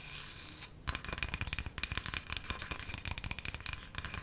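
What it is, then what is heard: Wooden coaster. A small, flat, solid square wooden coaster held in one hand is tapped fast with long matte black nails. After a soft hiss and a brief pause, a quick, uneven stream of crisp, bright clicks follows. Each tap is dry, with almost no ring.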